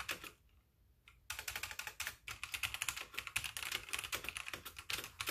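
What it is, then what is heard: Plastic mechanical keyboard. Fingertips with painted nails type rapidly with both hands on a full-size backlit mechanical keyboard with white plastic keycaps. After a brief near-silent pause, a dense run of bright, sharp clicky keystrokes follows, each one short and dry with almost no ring.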